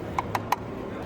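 Three light, short taps on the plastic aero cover fitted over a BMW iX's cast wheel, which is there to improve the electric car's efficiency. Each tap gives a brief, hollow plastic click with a pitch near 1 kHz that dies away almost instantly over a low background hum.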